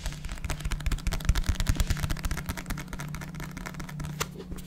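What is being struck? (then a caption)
Paperback book with paper cover. A small black paperback book with a paper cover, a barcode and solid pages is held up and tapped and scratched with fingertips and nails. Soft, dull taps come in quick, uneven bursts over a low, steady hum, with dry scratching sounds in between.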